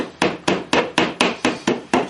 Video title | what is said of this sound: How to Build Shelves | you can just tell by the sound of the wall